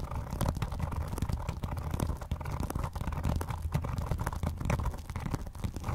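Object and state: Vinyl-covered binder.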